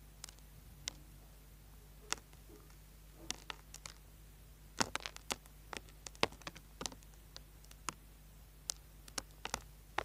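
A small, solid orange bar of soap held upright in a hand has its surface scraped with a small tool, sending shavings falling. The result is an irregular series of short, crisp, bright scratches and clicks that stop quickly, heard quietly over a faint steady low hum.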